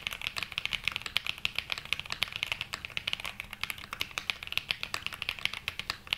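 A black 80% Glacier 80 mechanical keyboard with London Fog switches and dark grey and mint ABS keycaps, resting on a felt mat, is typed on continuously with the fingertips of both hands. About 40 quick, bright, clacky keystrokes are heard, each dying away almost instantly, with a tone centred around 3 kHz and very little low end.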